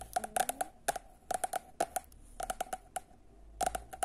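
Long nails tap and scratch the glossy sepia cover of a solid paperback copy of "Samac," producing bursts of quick, dry clicks with a faint tone near 700 Hz and bright, crisp edges. The taps come in clusters separated by brief pauses, with light scratching between them, and each click dies away almost instantly.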